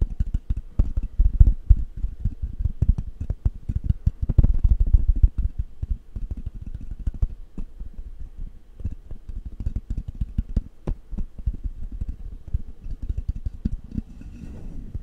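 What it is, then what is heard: Microphone grille being tapped and rubbed. Fingertips rub, scratch and tap the hollow metal mesh grille of a black condenser microphone held in one hand. Rapid, irregular thumps and scratchy rustles come through almost entirely as deep, boomy low-end thuds with very short decay, loudest early on and easing to softer scratching toward the end.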